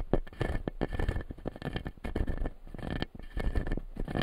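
Fingertips and nails tap and scratch the plastic teeth of a clear acrylic lower-jaw dental model. The result is a dense, continuous run of quick, dry clicks and scratchy rubbing, weighted toward the low end, with each sound dying away almost at once.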